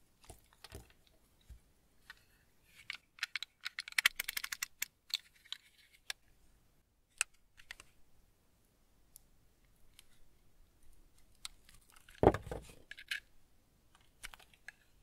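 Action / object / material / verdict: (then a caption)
scrape / semi-hard tar soap bar / soap / none. A solid, semi-hard household tar soap bar is held in one hand and carved with a small teal-handled blade, scraping and shaving it. Dry, crisp clicks and bright, short scrapes come in scattered bursts over quiet gaps, with a denser cluster early on and one louder, fuller crunch near the end.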